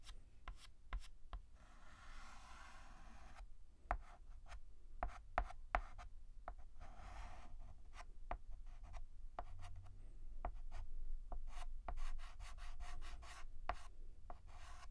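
White chalk held in the fingertips is rubbed and hatched across a black chalkboard, producing dry, scratchy strokes in bursts with a faint tone around 700 Hz. Sharp, short chalk taps punctuate the strokes at an irregular, fairly quick pace over a low, steady rumble.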